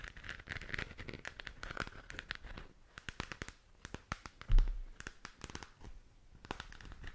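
Fingernails scratch and tap across the textured shell of a hollow plastic galaxy moon lamp, producing a dense run of dry, crackly scrapes and quick clicks with a crinkly, tearing texture. A single low thump stands out partway through, and the rest of the clip stays quiet and close.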